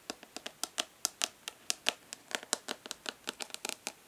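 Long fingernails tap and lightly scratch the embossed lid of a hollow plastic makeup palette held upright in one hand. About 22 quick, bright, dry clicks fall in an uneven rhythm, each dying away almost instantly, with soft scratchy texture between some taps and no low end.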